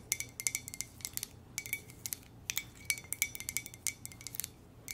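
A standard-size white ceramic coffee mug with a black lips print and script lettering, hollow and empty, is held in both hands and tapped and scratched with long manicured nails; rings on the fingers may add small clinks. About 27 quick, irregular, bright clicks and taps come in clusters, each with a brief glassy ring near 2.3 kHz. Faint scratching sits between them over a quiet, low background.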